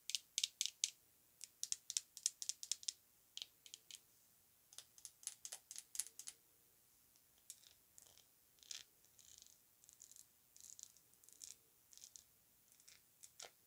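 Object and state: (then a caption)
Glass perfume bottle with metal cap. A small ribbed glass Estee Lauder perfume bottle with a gold metal cap, filled with perfume and held in the hand, is tapped and scratched with long acrylic nails on the cap and the glass. About three dozen quiet, bright, sharp clicks come in quick bursts, each dying away almost instantly with no low-end body, and softer scratchy ticks fill the gaps.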